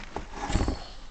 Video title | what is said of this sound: restauration complete d'une yamaha tzr euros1 | vous voyez ça sonne creux